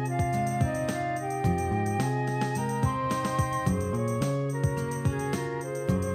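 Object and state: Nothing is struck.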